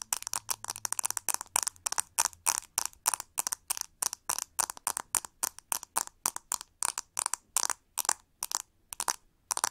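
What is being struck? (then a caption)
Plastic hair brush with ribbed handle. Long nails scratch and tap the hollow, textured plastic back of a pink plastic hair brush with a ribbed handle. The result is a rapid series of short, dry, bright clicks and scratchy bursts with no ringing, separated by brief silences.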